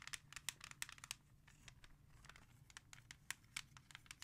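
Long nails scratch the front of a hollow plastic CD jewel case from an old music collection, then tap its back after it is flipped over. Quick, irregular, bright and dry clicks with almost no ring are broken up by a softer stretch of scratchy rustling, all over a faint low hum.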